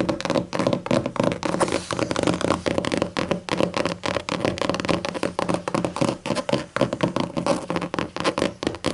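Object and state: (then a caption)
Leatherette-covered hardcover book. Long matte acrylic nails rapidly tap and scratch the flat black leatherette cover of a closed, thick hardcover book resting on a table. The result is a dense, continuous stream of quick, dry clicks and scratchy rasps with very short decay and a mid-range body.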